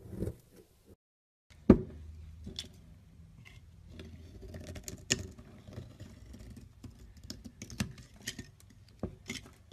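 A solid mint-green bar of soap is held in the hand and carved with a small metal blade, peeling off thin ridged curls. Soft, dry scraping and crumbly ticks run through the clip, with a sharp click near the start after a brief silence and scattered bright snaps later on.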